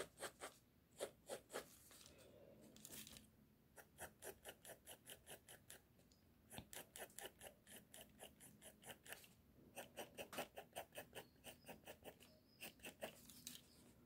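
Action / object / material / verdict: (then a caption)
scrape / pencil lead on a sheet of drawing paper / paper / none. A pink mechanical pencil tip scratches short strokes across a flat sheet of drawing paper with a sketch on it, lying on a table. Quick runs of dry, bright scratching strokes come in bursts separated by brief quiet pauses, each stroke crisp and short with no ring.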